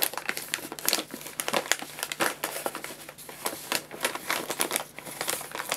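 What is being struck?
Paper bag of pellet food.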